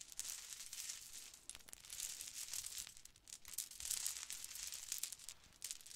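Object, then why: Plastic bead necklaces. Several dangling plastic Mardi Gras bead necklaces in black, gold and turquoise are held up and shaken while fingers rub the small hollow beads. This produces a continuous, bright, crinkly rattling of dense tiny clicks with almost no low end. The sound swells and dips in short bursts, with brief quieter pauses throughout.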